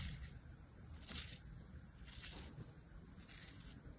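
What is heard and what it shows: A thin metal knife blade scrapes and slices layers off the top of a solid, palm-sized star molded from beige kinetic sand resting on an open palm. Four soft, grainy scraping strokes with a bright, hissy edge sound over a quiet low rumble, and the layers peel away.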